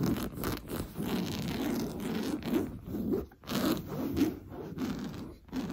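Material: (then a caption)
Woven fabric. Fingernails painted blue scratch quickly across an orange coarse-weave fabric sofa cushion. The result is a run of dry, raspy scratching strokes in uneven bursts, with a rough low-mid body and little ring between strokes.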